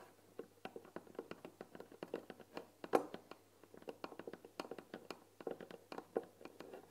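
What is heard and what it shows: Fingertips and nails tap quickly on the front "THÉ" panel of a white painted wooden tea box, its lid open with tea packets visible. About 35 quick, dry, hollow taps with very short ring sound in an uneven rhythm, centred around a mid-range knock with brighter clicky edges from the nails.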